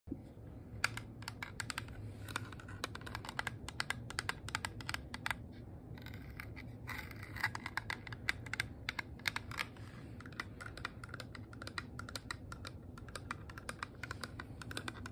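Long fingernails and fingertips tap quickly over a small, flat, hollow rose-gold metal compact shaped like a handbag, with a textured top, a twisted handle and a heart clasp. A steady run of sharp, bright, clicky taps with very short ring sits over a low hum, sounding much like fast typing on a keyboard.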